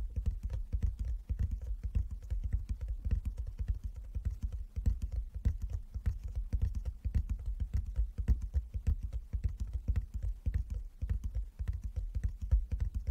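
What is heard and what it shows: Fingertips tap rapidly and irregularly on a wooden chess board, a box lined with fabric inside. The taps are soft, dull and low-pitched, each dying away almost at once with no bright ring. The effect is a steady, muffled patter like fast typing.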